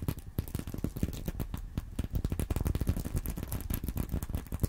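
Fingernails scratch the plastic sequins near the top zipper edge of a flat, sequin-covered fabric purse, likely empty, resting on a corduroy pillow. A quiet, steady stream of rapid, short scratchy clicks and rustles runs throughout, with a soft, low-weighted body.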